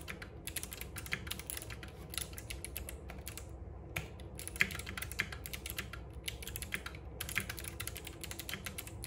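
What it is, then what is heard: Mechanical keyboard with plastic keycaps. Both hands type continuously with their fingertips on a compact RGB-backlit mechanical keyboard with plastic keycaps and clicky switches, set on a wooden desk. A dense, fast stream of bright, sharp clicks rings around 2 kHz, with short pauses between bursts. A steady low rumble sits underneath.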